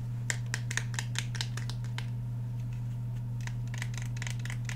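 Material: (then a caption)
Polymer, steel. Fingernails scratch and tap along the steel slide and polymer frame of a black Glock 17 handgun held in both hands. A series of quick, bright clicks and scratchy taps rises over a steady low hum, louder at first and softer and denser toward the end.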